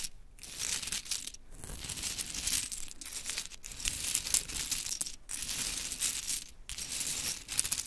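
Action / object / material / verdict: scrape / small wooden clothespins in a pile / wood / none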